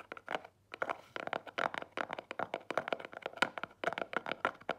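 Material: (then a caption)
Cardboard. Long nails tap and scratch the front of a small, square, black Marlù cardboard jewelry gift box, which stands closed on a table. About 26 quick, dry taps and scratches follow one another in an uneven rhythm, each with a papery click centred around 1.4 kHz and almost no ring. The sound is quiet and close with a little brief crinkle.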